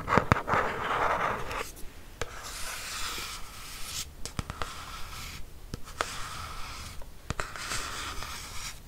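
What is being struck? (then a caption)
Textured hardcover notebook cover. A black hardcover notebook with a yellow logo and a textured cover, held upright, is scratched with long nails. Soft, papery rasps alternate with brighter scratching passes, and sharp little clicks and taps are scattered throughout.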